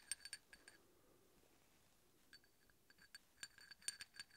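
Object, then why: Steel hex bolt tapped with a steel drill bit. A large, solid steel hex bolt, held upright, is tapped and scraped with the tip of a steel drill bit. The result is a quiet run of light, bright metallic clinks and ticks that die away almost at once. They come in a cluster at the start, go sparse through a near-silent middle, and return in a denser flurry at the end.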